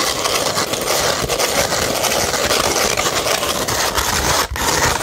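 Long red nails scratch across a beige 100-grit sandpaper sheet, making a steady, dense, gritty rasp. The sound is bright and hissy and barely lets up, with only a brief dip just before the end.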